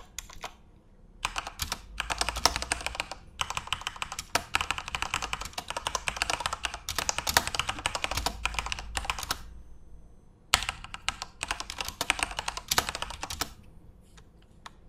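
Both hands type rapidly with their fingertips on a Corsair mechanical computer keyboard with plastic keycaps and RGB backlight, resting on a desk. Dense bursts of bright, sharp plastic clicks and clacks come in fast runs, with short pauses near one second, three seconds and just past ten seconds. Each keystroke is crisp and dies away almost instantly.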